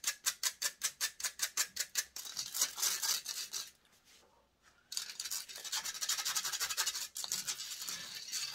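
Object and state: Metal microphone mesh grille scratched with nails.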